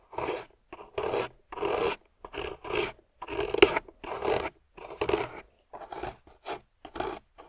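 A metal loop carving tool scrapes through a solid, water-soaked grey clay block in a series of short strokes separated by brief pauses. Each stroke gives a rasping, gritty scrape with a midrange body and a bright edge, and stops dead without ringing.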